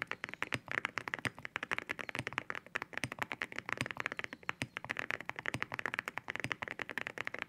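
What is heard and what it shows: Fingertips of both hands type quickly on a white mechanical keyboard fitted with ceramic keycaps. A dense, steady stream of short, crisp, bright clacks fills the clip, each tap dying away almost instantly, with a glassy tone centered around 2 kHz and little low-end weight.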